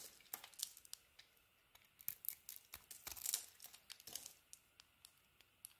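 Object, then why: Bar of soap cut with a knife. A utility knife shaves chunks off a hand-held solid yellow bar of soap with a purple patterned outer layer. Many short, crisp crunching and scraping cuts come in quick, uneven bursts, quiet overall and almost entirely bright, with nearly no low end. Each cut stops dead with no ring.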